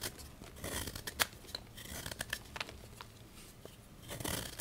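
A solid white gym chalk block of magnesium carbonate with pink traces is held in the hand and carved with a small patterned knife, its flakes scraping off into a bowl. Dry, gritty scraping and crumbling fill the clip, broken by sharp, crisp clicks and brief bright ticks. The chalk crumbles away in quick, short strokes that die off almost instantly.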